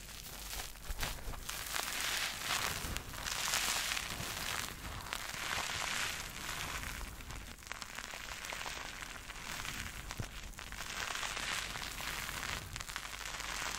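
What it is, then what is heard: Soapy foam sponge being squeezed. A palm-sized purple porous synthetic bath sponge, soft and soaked with white soap foam, is squeezed and kneaded by two hands with long red nails. It gives a steady, wet, bright crackling and fizzing foam sound with soft squelches throughout.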